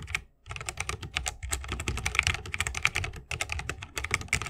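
Both hands type continuously with the fingertips on a 60% mechanical keyboard with Holy Panda switches, a bamboo case and plastic keycaps. The result is a dense stream of short, crisp clacks with a bright click near 2.3 kHz over a soft low thock. There is a brief pause early on and a shorter dip just past three seconds.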